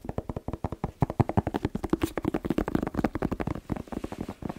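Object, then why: Whole bell pepper. A whole, fist-sized red bell pepper, hollow with waxy skin, is held in the hands and tapped quickly with fingertips and short nails near the microphone. About thirty rapid, dry, hollow knocks sound in an uneven stream, each with a low, muted thump and almost no brightness. Every tap dies away instantly, leaving no ring.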